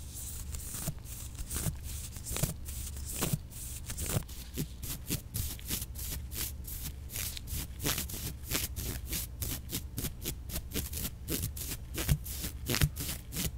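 A soft paintbrush is brushed again and again across the slats of a flat, hand-sized bamboo sushi rolling mat made of thin slats tied with white string, held in a black-gloved hand. Each stroke gives a quick, dry, bright swish with a faint clicking over the slats, repeated in a steady rhythm above a constant low hum.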